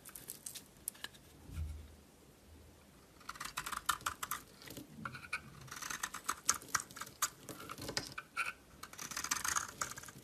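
A solid green bar of soap held in the hand is scraped with a metal utility knife blade. After a quiet start with a low soft thump, dense bursts of dry, crackly scraping and bright hissy shaving sounds follow, with short sharp ticks as the blade bites into the soap.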